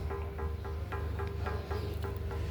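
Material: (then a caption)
Stone. At a temple, a stone that was once hung and used as a bell is knocked with quick, evenly spaced taps. Each tap gives a bright, short click over a steady ringing tone in the mid range, all above a constant low hum. The stone still rings clearly like a bell.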